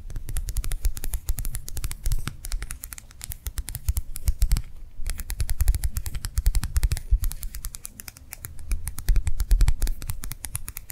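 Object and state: Gel hand warmer pad tapped with nails.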